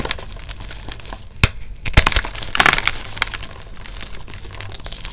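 Fingertips and thumbs press and crush solid, brittle blue-dyed reformed gym chalk blocks in a bucket beside glittered chalk bars, breaking them into flakes and powder. Dense, crisp crackling and glassy crunching run throughout, punctuated by a few sharp, bright snaps as pieces give way, then settle into a steady, dry crumbling.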